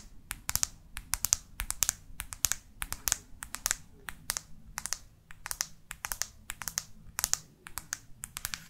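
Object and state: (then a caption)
Plastic smartphone back. Long artificial nails tap rapidly on the matte plastic back cover of a black Microsoft Lumia phone held in both hands. The result is a steady stream of sharp, dry clicks, bright and quick to die away, often in quick clusters like typing on a keyboard.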